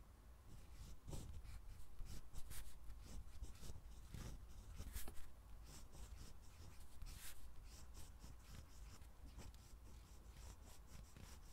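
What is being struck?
Steel-nib fountain pen on a lined paper pad.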